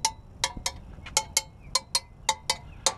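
Eleven screwdriver taps on the metal exhaust stacks of a North American P-51D Mustang aircraft, each a short, bright ring rather than a clunk. The clear ringing indicates the exhaust stacks are uncracked and in good condition.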